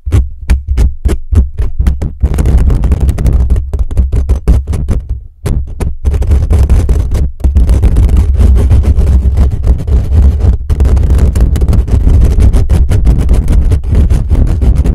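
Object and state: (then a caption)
Metal mesh microphone grille being scratched. Fingertips and short nails scratch fast over the hollow metal mesh grille of a black USB condenser microphone, making a loud, boomy, low rumbling scrape. It opens with quick separate strokes, then blurs into a dense, nearly continuous scratching with only brief pauses.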